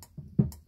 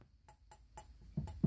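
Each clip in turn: First: hollow-sounding corroded metal p-trap. Second: newer metal p-trap with a thicker wall.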